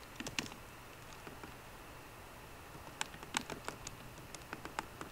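Fingertips and short nails of both hands type on a 13-inch MacBook Pro keyboard with plastic keys in an aluminum body. About 16 short, dry, bright key clicks sound over a quiet hiss: a quick cluster at the start, a lone tap, a long pause, then a faster run of taps to the end.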